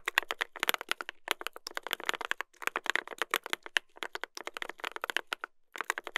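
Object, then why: Mechanical keyboard with brass plate and plastic keycaps. Two hands type continuously with their fingertips on a mechanical keyboard with a brass plate and plastic keycaps. The result is a rapid stream of short, bright, clacky keystrokes with almost no low end, broken by brief pauses near 2.5 and 5.5 seconds.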